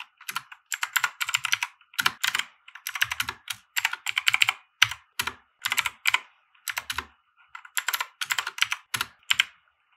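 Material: Plastic.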